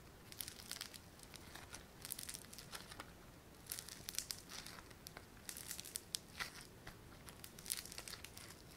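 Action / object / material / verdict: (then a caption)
scrape / foam bead clay / foam beads / none. A palm-sized, solid lump of yellow foam-bead clay (floam) is pulled apart and squeezed between fingers and thumbs. It gives off bursts of crisp, bright crinkling and crackling that come and go in quiet clusters over a soft background hiss.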